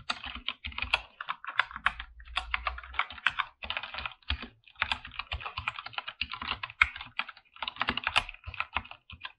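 Both hands type with their fingertips on a full-size, backlit mechanical keyboard with PBT plastic keycaps in a dark room. Quick bursts of bright, crisp keystrokes clatter along with short pauses between runs, and each keystroke cuts off with no ring.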